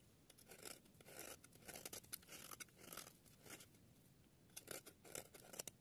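A palm-sized, dry, solid yellow bar of soap is held in one hand and shaved along its edge with a small metal blade, carving off curls and flakes. Crisp, bright scraping strokes come in bursts, some sharp and crackly, over a faint background hiss.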